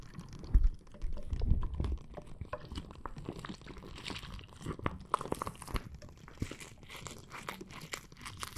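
A clear plastic bag full of red water beads is squeezed and scratched with nails and fingers, giving a steady run of soft crunches, crinkles and squishes over low, muffled thumps. The handling is loudest in the first two seconds, then settles into quieter crackling with brighter scratchy bursts later on.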